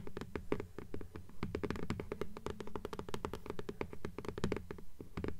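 Long polished nails tap rapidly on the front cover of a blue hardcover "Fairies" book with a paper dust jacket, held upright. The quick, irregular run of crisp clicks sits over a dull, hollow thump centered in the low range, with a faint tone near 420 Hz. Each tap dies away almost at once.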